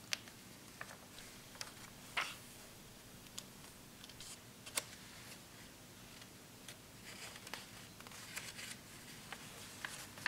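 Fingertips grip and flip the thin glossy pages of a large open glossy-paper magazine lying on a wooden table, rubbing and turning them one after another. Quiet, bright papery rustles and crisp, sharp snaps are heard, scattered irregularly over a soft, steady low background hum.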